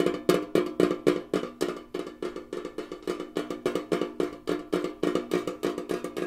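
A tall, hollow, rectangular gingham-printed Kellogg's metal tin canister, held up with its bottom visible, is tapped quickly with fingernails and fingertips. About 35 sharp, short taps fall in a fast, uneven rhythm of roughly three to four per second. Each tap gives a hollow, boxy knock centred near 360 Hz with a brief metallic ring that dies away almost at once.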